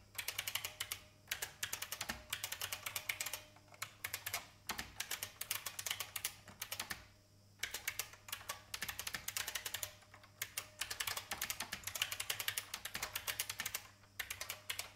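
Fingertips with red nails type continuously on a vintage beige plastic IBM mechanical keyboard with hollow keycaps. The result is a rapid stream of bright, crisp key clacks that die away almost instantly, coming in bursts separated by brief pauses over a faint, steady low hum.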